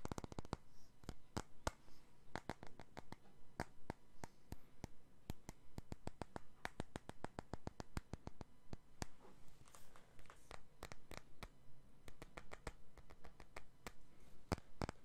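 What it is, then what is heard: Glass perfume bottle. A clear, faceted, medium-size glass perfume bottle is held close to the mic and tapped and rubbed with the fingertips. Quick, dry, irregular taps crackle across the whole clip with almost no ring, mixed with soft, breathy rubbing that swells briefly midway. The overall level stays quiet and intimate.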